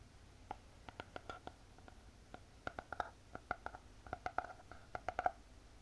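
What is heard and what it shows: Long painted fingernails tap on the cover and edge of a closed spiral notebook with a hard cardboard cover. About two dozen quick, dry taps sound in an irregular rhythm, each with a hollow, mid-pitched knock and a bright click. Every tap dies away almost at once over a quiet background.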